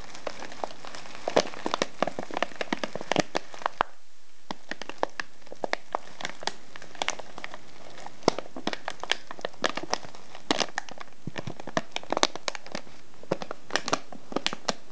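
A small ribbed brown kraft paper tea package filled with loose tea is held on a wooden table and squeezed and crinkled with fingertips. It gives a steady run of dry, crisp crackles and crinkles, with a brief quieter gap near the four-second mark before the crinkling resumes.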